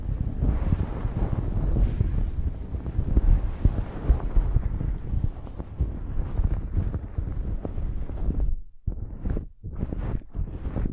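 A blue cotton terry cloth towel draped over a microphone is scratched with long acrylic nails. Dense, low, rumbling scratching and rubbing fills the first eight seconds. It then breaks into a few shorter, separated strokes with brief silences between them.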